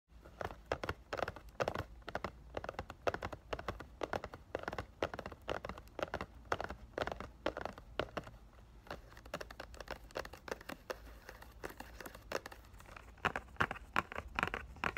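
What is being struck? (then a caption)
Cardboard box in cellophane wrap. A sealed rectangular cardboard box of Ariana Grande "Thank U Next" perfume in cellophane wrap is held in both hands and tapped with fingertips and nails. The result is a fast, irregular run of soft, dry clicks and taps. Light crinkling of the plastic wrap is heard between them, with the taps growing sharper and brighter near the end.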